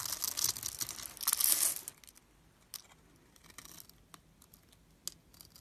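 A solid purple bar of soap, held in hand, is carved into small cubes with a metal blade. The first two seconds bring dense, bright scraping and crackling cuts; the rest of the clip settles into quiet, with sparse, sharp little clicks as pieces break away.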